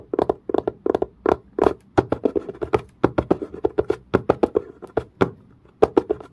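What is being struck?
Leather-covered case.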